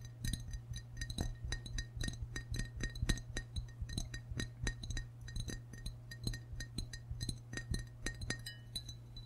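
Fingertips and short nails tap the white belly and sides of a hollow, glazed ceramic frog mug held in both hands. Rapid, dense clinking taps with short bright rings overlie a steady low hum.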